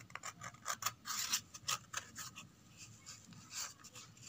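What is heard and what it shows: Long red nails scratch the flat inside surface and the edge of an empty corrugated cardboard box. Quiet, dry, bright scratching strokes come in uneven bursts, some quick and some drawn out, with a papery rasp and little low end.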